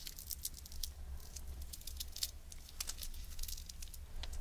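Long nails tap and scratch a small, empty, hollow wafer ice cream cone held upright, its dry wafer giving off quiet, crisp, bright crackles and ticks. The clicks come in a quick, uneven patter over a steady low rumble, each one dying out almost at once.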